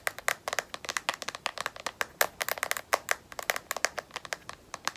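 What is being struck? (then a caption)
Smartphone in rubberized plastic case. A smartphone in a black matte rubberized plastic battery case, held edge-up, is tapped on its edge and back with long nails. Dozens of quick, sharp clicky taps come in an uneven rapid rhythm, each bright and dry with almost no ring and no low end.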